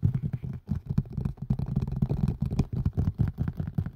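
A green and white collapsible colander with a hard plastic rim and a silicone body is held hollow-side down over a microphone and tapped fast with fingertips and nails. The result is a rapid, uneven stream of dull, hollow thumps, deep and boomy with almost no high end, each dying away almost instantly.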